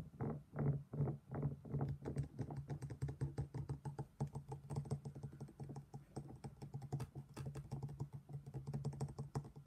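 A black stone pestle held in the hand knocks and grinds inside an empty, hollow, thick-walled black stone mortar. A few slower, heavier knocks open the clip, then give way to rapid, irregular tapping and scraping with a low, resonant body and short, clicky highs.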